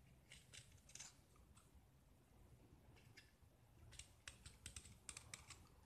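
A small, solid gypsum plaster disc painted orange is held in the fingers and scraped with a metal utility knife, curling off shavings and exposing the white plaster underneath. Quick, dry, bright scratching strokes come in bursts, with a sparse cluster early and a denser run near the end, over a faint low rumble.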